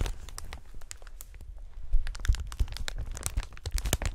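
A clear plastic strip of inflated air-cushion packaging with green print is held horizontally in gloved hands, then twisted and squeezed. The result is a dense run of crinkling, crackling film sounds with sharp bright snaps over a low rumble.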